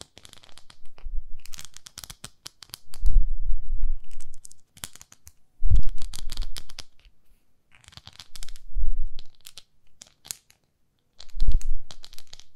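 Long nails scratch and rub the nubbed face of a palm-sized beige textured silicone facial cleansing pad. The result is bursts of dry, bright scratching and rubbing. Low rumbling thumps come through around 3, 5.7, 8.8 and 11.5 seconds, with short silent pauses between the bursts.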